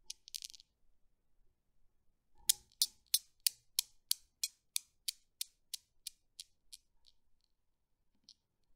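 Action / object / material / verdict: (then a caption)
knock / steel ball Newton's cradle / steel / none. Fingertips with long painted nails lift and drop the solid steel balls of a small desk Newton's cradle, so the balls knock and click against each other. A brief flurry of clicks is followed by a steady, evenly spaced run of about fourteen sharp, bright clicks that gradually fade, with a faint click near the end.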